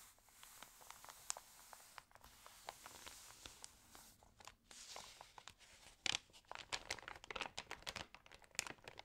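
Fingernails and fingertips scratch and rub the glossy, crinkled pages of an open, water-damaged paper home magazine, making quiet, bright ticks, crackles and scrapes. The sound then grows louder with a rustling page turn and sharper crinkling.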